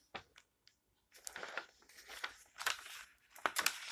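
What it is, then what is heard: Glossy magazine pages rustling. Fingertips with long nails rub across the recipe pages of an open glossy paper magazine lying flat on a table, then turn them. A few soft ticks and a short pause give way to dense, bright rustling and crinkling, with sharper swishes as the pages move. Every sound is dry and short, with no ring.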